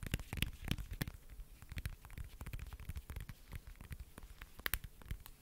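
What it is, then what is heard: Smartphone in plastic case. Long nails tap and scratch the glossy surface of a lavender plastic smartphone case held close to the mic. Quiet, rapid, irregular taps carry a soft low thump under sharp, bright clicks, mixed with crackly scratching. Each tap dies away almost instantly.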